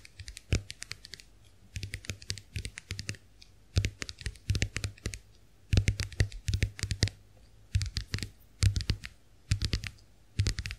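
Long acrylic nails tap the dotted plastic backs of a small round white plastic clamshell hand mirror held open. The taps come as rapid bursts of short, dry clicks separated by brief pauses, each click dying away almost at once.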